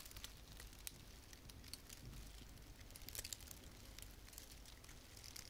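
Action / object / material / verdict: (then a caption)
scrape / artificial pine branch with plastic needles / plastic / none. Long painted fingernails rub and scratch a small frosted artificial fir branch with plastic needles. The result is a soft, steady crinkling and crackling, dotted with brief, bright ticks over a faint low rumble.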